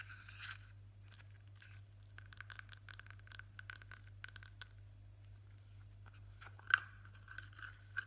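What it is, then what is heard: Plastic cream jar lid being scratched. Fingertips and short nails rub and scratch the top and side of the lid on a small, hollow, blue plastic Nivea cream jar. Quiet, dry scratching comes in bursts with a hollow tone around 1.5 kHz over a steady low hum. Two sharper clicks stand out near the end.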